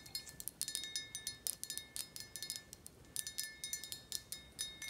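Long acrylic nails tap and scratch the thick glass of a large, clear, filled Reposado tequila bottle held in the hand. A quick, uneven series of bright, high clinks with faint scratching is heard, each tap dying away almost instantly with only a faint, steady high ring beneath.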